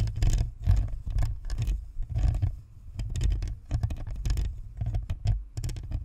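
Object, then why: Plastic USB microphone. Long nails of both hands scratch and tap the top and sides of a white, hollow, spherical plastic Blue Snowball USB microphone with a perforated grille. Dense bursts of scratching and tapping come in quick flurries over a heavy low-frequency rumble around 100 Hz, with brief bright crackles at each contact.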